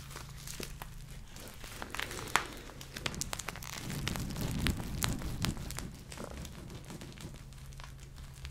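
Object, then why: Gel-filled plastic eye mask with beads. A hand-sized, thin, flexible purple plastic eye mask filled with gel and beads is held in both hands, handled, tapped and scratched with long painted nails. Quiet, crinkly, squishy rustles and quick sharp ticks come in an uneven stream over a steady low hum. The sound swells to a denser, squishier patch in the middle before settling back to softer crinkling.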